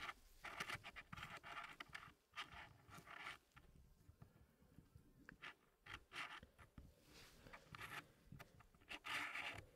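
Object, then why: Wooden packing puzzle pieces in a tray. Fingertips slide small solid wooden pieces around the corner of a small square wooden tray with a light wood base, part of an Elegance wooden packing puzzle. Soft, bright wood-on-wood scraping and rubbing mixes with quick light clicks that come in uneven bursts. The sound stays quiet and close throughout.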